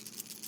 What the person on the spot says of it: you shake it it has some rattle to it so as opposed to some the other baits there is actually a rattle in this chamber